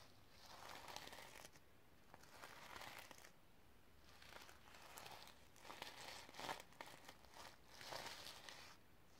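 Long red nails scratch and brush across a sequin-covered notebook, flipping the sequins back and forth. Soft, crinkly, scratchy rustles come in repeated swells of bright, gritty texture. The clip stays quiet throughout, with brief crackling clicks between strokes.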